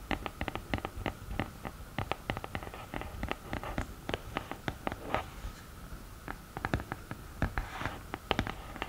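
Long painted nails tap and scratch the textured lid of a black glittery cardboard eyeshadow palette, its lid standing upright and open. A quick, irregular stream of dry, short clicks and taps mixes with soft scratchy rasps, each tap dying away almost instantly.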